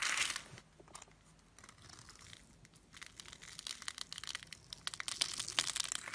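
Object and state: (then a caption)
Bar soap being carved. A blade carves and scrapes a solid light-green bar of soap held in the hand, and crumbly bits fall away. A loud, bright, crackling scrape opens the clip, then fades to faint rasping before building again into rapid, crisp, crunchy ticks and crumbles. The sound is dry, sits almost entirely in the high range, and has almost no low end.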